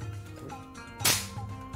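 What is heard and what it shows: Steel Japanese sword blades are struck together twice, giving a harsh, bright clatter with a short, dull decay instead of a clean metallic ring. This is how real blades sound when they meet: the edges get so damaged that another hit would ruin them, so swordsmen avoid meeting blade to blade.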